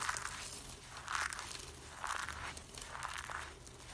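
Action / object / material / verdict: scrape / soap flakes / soap / none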